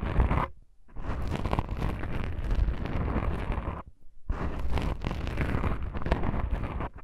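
Long nails scratch black foam microphone windscreens, making dense, rough scratching and rustling with a heavy low rumble. The scratching runs in two long stretches, split by brief near-silent pauses at about 0.7 and 4 seconds.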